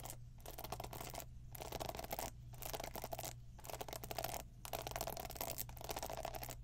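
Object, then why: Plastic paddle hairbrush bristles. Long pink nails scratch and tap the plastic pin bristles of a black plastic paddle hairbrush held up close. The result is a dense, bright crackling scratch in bursts separated by brief pauses, over a steady low hum.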